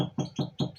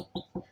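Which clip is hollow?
The first.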